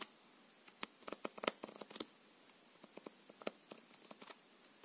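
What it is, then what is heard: Playing card deck being shuffled. A full deck of thin plastic-coated paper playing cards, held in both hands, is riffled and shuffled with the fingers. Quiet, bright, crisp card flicks and snaps come in a dense cluster early on, then thin out into scattered taps with very short, dry decays.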